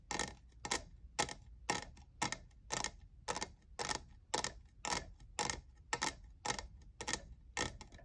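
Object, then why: Textured plastic cold cup. A fingernail taps the frosted logo area of a hollow, lavender, diamond-textured plastic cold cup. It makes a steady run of sharp, bright, clicky taps at roughly two per second, in a loose, uneven rhythm. Each tap ends almost instantly with only a faint hollow ring.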